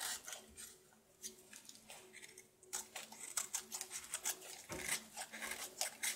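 A knife scrapes and carves the top surface of a solid, red-coated soap bar held in the palm. The crisp, bright scraping strokes come in quick, irregular bursts, with short dry cuts that die away almost instantly and very little low end.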